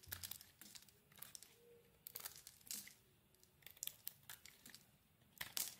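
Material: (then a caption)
Soap. A utility knife blade scrapes and shaves the edges of a solid green soap bar held in the hand. It makes a quiet, irregular series of short, bright, crisp scraping and crunching strokes with little low end. Some strokes are louder bursts, and the gaps between them are near silent.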